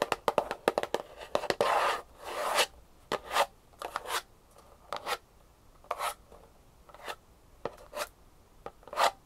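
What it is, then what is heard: Small hollow cardboard box. Long painted nails scratch and rub along the sides of a small, closed, hollow kraft cardboard jewelry box held upright in one hand. Quick, dry, irregular scratches and clicks mix with longer, brighter rubbing swishes that fade fast with little ring.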